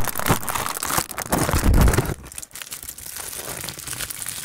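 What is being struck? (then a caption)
Aluminium foil sheet. A thin, crumpled aluminium foil sheet, shaped into a hollow loose wad, is crinkled and rubbed with fingertips, partly pressed over the mic grille and partly held in hand. Dense, bright crackling and crinkling come with heavy low thumps from pressure on the grille. The sound is loudest in the first two seconds, then drops to a softer, steady rustle.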